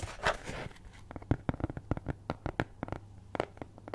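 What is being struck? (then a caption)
Thin cardboard cutout. A cat-head-shaped cutout of flat brown kraft cardboard, possibly thin fibreboard, is held near the mic and scratched with long nails in writing-like strokes. It opens with a soft rushing scrape, then a quiet run of short dry scratches and taps, each with a low thump and a crisp, papery edge.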